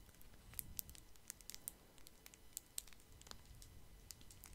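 A small solid chocolate wrapped in brown and white printed foil with twisted ends is held close to the mic and crinkled and scratched with the fingertips. Quiet, bright, crisp foil crackles and sharp ticks come in scattered bursts over a soft low rumble.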